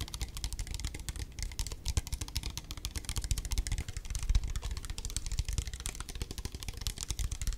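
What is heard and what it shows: A hand-sized, hollow clear plastic spray bottle with a black trigger head, partly filled with liquid, is held in both hands and tapped with long fingernails. Rapid, dense, typing-like taps produce short, dry clicks with bright edges over a soft low thump. The pattern runs steadily throughout with little ring after each tap.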